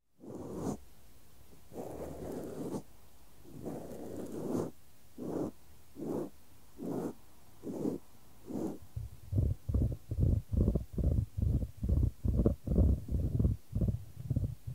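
A small solid cork stopper, held upright on a dark mat, is rubbed and scratched with white-gloved fingertips near a microphone. Soft, low, rustling strokes start slow and drawn out, then quicken into a steady run of short, separate scratches. The sound stays dull and muffled, with almost no bright content.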